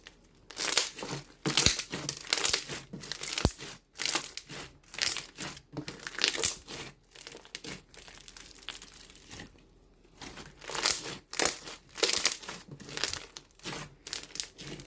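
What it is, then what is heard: Floam slime with foam beads. Both hands knead, press and squish a palm-sized mound of blue floam slime mixed with small coloured foam beads on a pink table, working it with fingertips and palms while a few loose beads lie scattered nearby. Bursts of bright, dense crackling and popping come in short clusters with brief quiet gaps, with little low-end weight.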